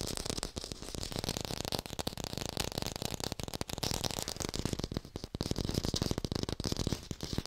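An artificial plastic red apple is fast-tapped and recorded with a hi-fi microphone. A dense, continuous stream of quick, dry taps mixes a low hollow thump with a brighter clicky edge. Each tap dies away almost instantly.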